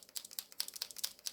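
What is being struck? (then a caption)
Acrylic paint marker with mixing ball. A TOOLI-Art acrylic paint marker that is still pretty full is shaken to mix the paint, and its mixing ball rattles inside in a quick series of about ten sharp, bright clicks. The rattle is loud, much louder than a Molotow marker's.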